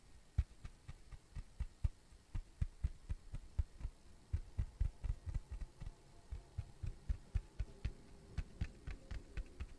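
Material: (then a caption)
Cork. A thin, solid, round flat tan cork coaster is tapped and scratched with fingertips and nails. About 24 soft, dull, low thumps land in a quick, somewhat uneven rhythm, each dying away almost at once. Faint scratchy sounds fill the quiet gaps between taps.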